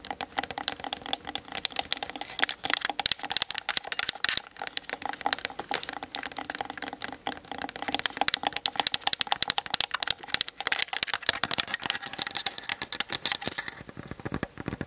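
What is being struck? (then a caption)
Plastic camera body and lens. Long nails of both hands tap fast across the hollow plastic body and lens of a Canon DSLR camera. The result is a dense, continuous patter of crisp, bright clicks, each dying away almost instantly, with almost no low end and a steady level throughout.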